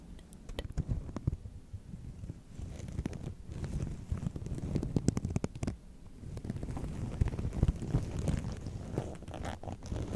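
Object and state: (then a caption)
Preserved rose petals tapped and scratched. Long nails tap and scratch the soft petals of a large round box of white preserved roses set beside the microphone, which is not touched. The sound is a steady run of soft, muffled taps and dry, crinkly scratching, mostly low and dull with brief brighter clicks.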